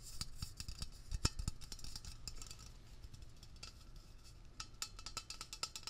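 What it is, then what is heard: Metal aerosol can. Fingertips tap quickly on the body and label of a Blue Coral aerosol can, a hollow metal cylinder with a blue plastic scrub cap. The result is a rapid, uneven stream of short, dry taps with bright high clicks over soft low thumps and almost no ring.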